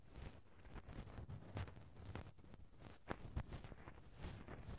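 A cotton swab softly rubs and pokes the small round metal mesh grille over the hollow left-hand capsule of a Tascam handheld recorder. The result is muffled, low, rumbling contact noise from the microphone itself, with quiet scratchy brushing and a few soft thumps and brief brighter scrapes.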